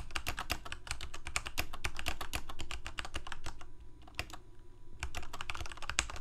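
Both hands type rapidly with their fingertips on a full-size black plastic Corsair K68 mechanical keyboard with Cherry MX Red switches and blue backlit keycaps, resting on a white desk. A dense stream of short, bright clacks runs over a steady low hum, thinning to a few softer taps and a faint steady tone in the middle before fast typing resumes.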